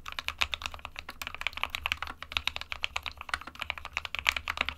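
Fingertips of both hands type continuously on a small SK61 60% mechanical keyboard, hollow with switches inside, with a plastic case and plastic keycaps. The result is a rapid, uneven stream of sharp, bright plastic clicks that stop instantly, over a faint low hum.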